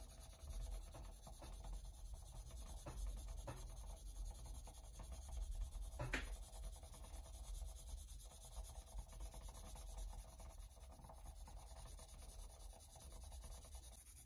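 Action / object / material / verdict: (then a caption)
scrape / rubber printmaking block scratched with a pencil tip / rubber / none. A colored pencil tip scratches and drags across the surface of a flat, solid white rubber printmaking block, about a hand and a half in size, lying on a wooden cutting board while drawing. Soft, steady scratching and rubbing run throughout over a low, quiet hum, with a few brief sharper ticks, the clearest one about six seconds in.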